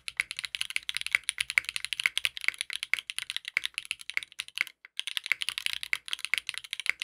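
A compact 60% mechanical keyboard with a dark purple case, purple ABS keycaps with yellow and pink accents, and a polycarbonate plate, resting on a desk mat, is typed on continuously with the fingertips of both hands. Dense, rapid, bright plastic clicks and clacks follow one another with almost no low end, pausing briefly near the five-second mark before resuming.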